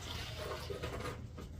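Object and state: Nothing is struck.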